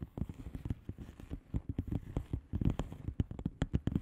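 Long fingernails of both hands tap fast on a flat blue plastic bubble wrap padded envelope with air-filled bubbles. The result is a quick, uneven patter of soft, dull clicks that die away almost instantly, mostly low in tone with little brightness.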